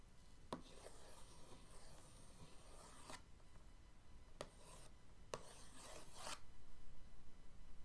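The tip of an orange paintbrush handle traces lines over the lid of a flat printed cardboard paint-set box resting on a dark table. Three strokes each start with a sharp tap, followed by a soft, papery scratching rub. The first stroke is long, and the last two are shorter.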